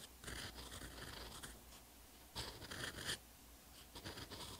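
A steel fountain pen nib writes Korean characters on a textured paper notebook page, giving repeated short, bright scratching strokes over a low background hiss. The strokes come in bursts, with a louder cluster near the middle, and the nib ends lifted over a blank line on the same page.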